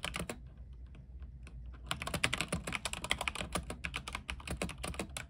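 A compact mechanical keyboard with white plastic keycaps, a silver case and RGB lighting is typed on with the fingertips of both hands. Short, bright, clicky keystrokes come in a quick burst, thin out to a few sparse taps over a low steady hum, then return as dense, rapid typing until the end.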